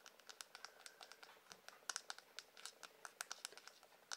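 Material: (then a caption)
Wood. Fingernails tap and scratch the handle of a light-coloured, solid wooden hairbrush. The result is a quiet, rapid series of crisp, dry clicks with a bright, high-pitched tone and very short decay, and no low-end body.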